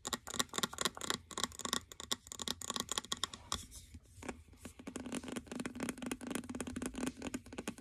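A medium glass candle jar full of cream-colored wax, with a label on its base, is held in both hands while fingernails tap rapidly on its glass sides and base. The result is a quick, uneven run of dry, bright clicks and ticks with almost no ring, softening briefly in the middle before picking up again over a faint low hum.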